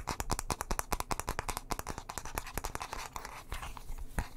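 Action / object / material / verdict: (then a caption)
scrape / wooden bristle hairbrush / wood / none. Fingernails scratch quickly over the bristles and wooden back of a light wooden bristle hairbrush held close to the microphone. The result is a rapid, irregular run of short, dry scratching strokes, each a bright crackly burst with a soft low thump from the close miking, and the bursts die away almost instantly.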